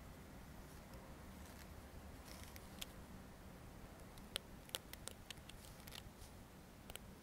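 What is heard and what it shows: Fingertips and nails scratch and flick the teeth and spine of a dark green plastic comb held upright. Sharp, bright clicks and ticks come at irregular intervals over a quiet, steady low rumble, each dying away almost instantly.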